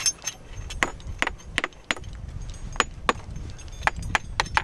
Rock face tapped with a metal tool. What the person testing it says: doesn't sound very hollow